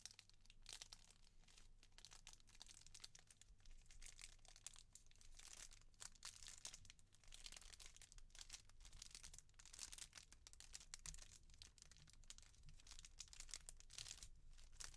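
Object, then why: Small clear plastic bag. A small clear plastic jewellery bag with a rainbow-printed jewellery card inside is held up and crinkled and scratched with long painted nails. The result is a quiet, continuous stream of bright, crackly crinkling in dense bursts over a steady low hum.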